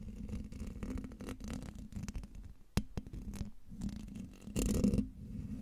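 Fingertips and long nails of both hands scratch the hollow metal mesh grille of a silver Blue Yeti microphone. The result is a dense, close rasping and crackling scratch with a heavy low rumble and a steady tone near 200 Hz. A sharp click near the middle and a louder, brighter burst of scraping come just before the end.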